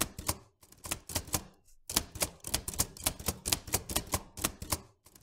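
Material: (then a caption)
Metal. Fingertips type with both hands on a vintage black-and-silver metal manual typewriter. About 19 sharp, bright clacks come in quick bursts, each with a short low thump underneath, broken by brief pauses. The strikes die away almost instantly.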